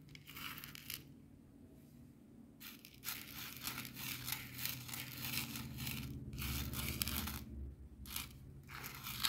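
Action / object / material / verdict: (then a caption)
scrape / coarse salt crystals on a plastic board / salt crystals / none. A wooden skewer held in the fingers scratches and pushes a small heap of coarse bath salt grains across a white plastic cutting board. Bursts of bright, gritty scratching and crunching come and go, separated by short quiet pauses, over a faint low hum.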